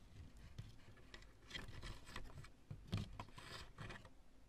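Long nails tap and scratch across the knobs of a lumpy, light chunk of cured polyurethane spray foam. The result is quiet, dry scraping and soft tapping with a low thumpy body and brief brighter scratchy bursts, each sound dying away quickly.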